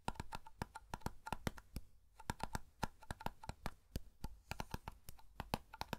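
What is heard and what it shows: Fingertips tap and flick the lid of a small black round metal hair cream tin held in both hands. The result is a quick run of short, dry clicks with a faint ringing tone near 1 kHz and a bright edge, broken by a brief pause around two seconds before the tapping picks up again.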